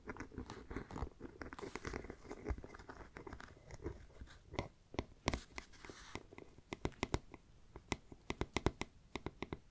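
Long black nails scratch and tap the textured surface of a small, hollow black pebble-grain faux leather backpack with a metal bee brooch and striped webbing. A dense run of soft, crunchy scratching fills the first six seconds, then gives way to separate sharp, dry taps that die away almost instantly. The sound is close and quiet, weighted toward the low end with a faint hollow body.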